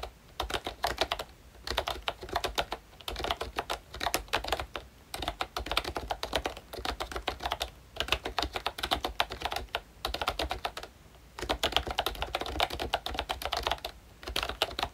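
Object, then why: Plastic membrane keyboard with round plastic keycaps. Fingertips of both hands type on a full-size pink ROYCHE Disney Mickey Mouse retro keyboard, which has a plastic case, round dark green plastic keycaps and membrane switches. Bursts of rapid, dry plastic key taps with a bright clack and a soft low thump come in steady runs broken by brief pauses, each tap dying away almost instantly.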